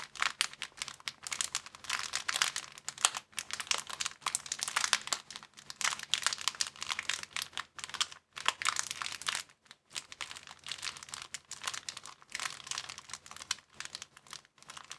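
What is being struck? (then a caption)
Thin plastic bag. A thin, empty, roughly hand-sized clear plastic bag is held in both hands and crumpled with the fingers. Dense, bright crinkling crackles almost without pause, with only brief gaps around the eighth and ninth seconds.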